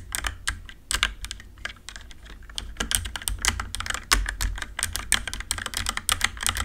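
Long nails and fingertips type rapidly on a compact RGB-backlit mechanical keyboard with plastic keycaps. The result is a steady stream of bright, sharp plastic clicks and clacks over a soft low thump. Each keystroke is short and dry, with almost no ring.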